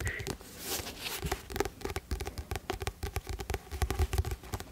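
Fingertips and nails tap and scratch the blue illustrated glossy card cover of a medium paperback novel, "Rêves de Glace," a solid stack of paper held close to the microphone. Dense, quick, dry taps with a low thud and a faint tone around 400 Hz mix with brief scratchy brushes. Each touch dies away almost instantly.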